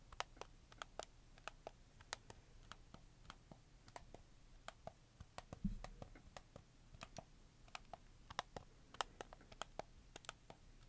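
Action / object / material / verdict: tap / hard plastic game controller / plastic / none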